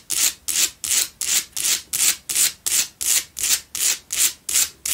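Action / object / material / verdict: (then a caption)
scrape / salt block candle holder / rock salt / none. Long pale-blue nails scratch the sides and front of a lit pink Himalayan salt candle holder, a solid salt block made to hold two candles. Fourteen steady, evenly paced strokes make a bright, hissing, sandpaper-like rasp with almost no low end. Each stroke swells and fades quickly.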